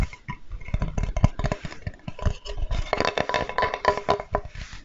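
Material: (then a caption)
Wood. A flat, light, solid wooden Spätzle board with a handle is held in the hands and tapped and scratched with fingertips close to the mic. Quick, dull, low knocks patter irregularly with almost no ring, and a dry scratching rasp grows brighter and denser in the second half. The result is a steady, close, woody mix of soft thumps and scraping.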